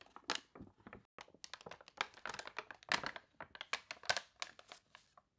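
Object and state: Glossy paper catalog.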